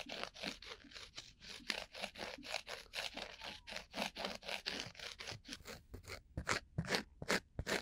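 A round, flat, coaster-sized solid cork disc is held against the ear of a binaural microphone and scratched, and tapped, with a bamboo ear pick; by the end the cork's edge sits at the other ear. A rapid, irregular series of dry, crunchy scratches is heard, bright with little low end. Each stroke dies away almost at once, and the final strokes come sharper and more spaced out.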